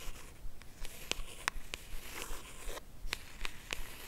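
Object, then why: Small rigid cardboard box. A small, hollow, cream rigid cardboard jewelry box, held in both hands, is tapped and scratched along its edges and lid with long acrylic nails. Crisp, bright nail clicks land at an uneven pace over a soft, dry scratching hiss. The clip is quiet and close throughout.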